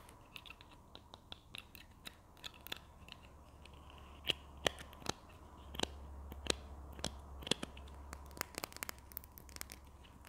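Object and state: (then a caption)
Plastic glue stick, hollow. A small, hollow red and white plastic Berlingo glue stick is held in both hands and tapped and scratched with long nails while its cap is handled. About two dozen sharp, bright clicks and taps stand out over soft scratching, with a faint low hum underneath. Each tap dies away almost at once.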